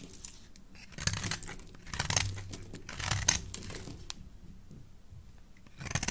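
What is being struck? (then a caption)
Bar of soap shaved with a metal blade. A solid mint green bar of soap, held in the hand, is shaved with a metal blade. Bursts of bright, crisp scraping and crumbly crackling rise and fall over a soft low rumble. The strokes run together rather than landing as separate hits.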